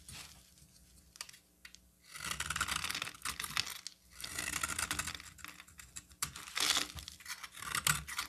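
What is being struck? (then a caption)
Bar of soap cut with a metal blade. A hand-sized solid green bar of soap, held in one hand, is carved and scraped with a metal utility knife blade, shavings falling away. Dry, bright scraping and crackling strokes come in several long bursts separated by quieter gaps, each stroke ending abruptly with almost no ring.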